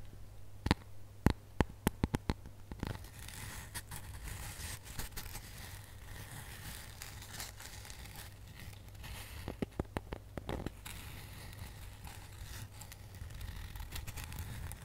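Long nails scratch and tap the textured front of a flat, glitter-coated foam snowman ornament held in both hands. Sharp, bright clicks cluster near the start and again around ten seconds, with a dry scratching rustle between them over a steady low hum.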